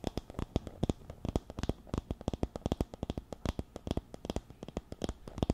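Long nails scratch across the wooden pins of a wooden paddle hairbrush resting on a teal cushion and held close to the mic. The result is a quick, uneven run of about 37 short, dry clicks and ticks that die away almost instantly. The sound is mostly low and soft, with little bright content.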